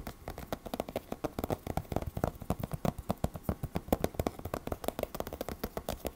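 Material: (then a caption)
Cardboard. Short fingertips and nails of both hands tap rapidly on the glossy laminated cardboard cover of a closed, large hardcover 3D fairytale book lying flat on a table. About 47 quick, dull knocks come in an uneven stream, each dying away almost at once. Their weight sits in the low and middle range with very little high-end brightness.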